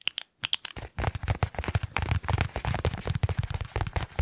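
A small white paper envelope or folded paper is held in both hands and crinkled and flexed with the fingertips. A few sharp, bright clicks open the clip, followed by a short pause and then a dense, continuous run of crackling bursts with a heavy low rustle underneath.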